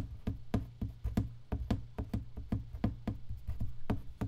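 An empty box is tapped 17 times in a steady rhythm. Each tap is a short, hollow, low knock with a woody tone that dies away quickly.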